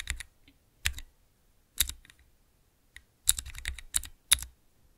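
Fingertips press the keys of a small clear plastic 3x3 key switch tester fitted with Cherry MX mechanical switches. Each press gives a sharp, bright clack over a short low thud, and the presses come in short bursts with quiet gaps between them. The clicks cluster more quickly toward the end.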